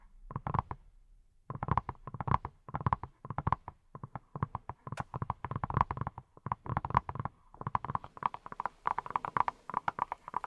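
A hand-sized yellow silicone pineapple-shaped brush, which appears hollow, is tapped with fingertips wearing silicone rubber pads. Quick runs of soft, dull taps carry a hollow tone near 1 kHz over a low thump, with a short pause near the start. Each tap dies almost at once, with no ring.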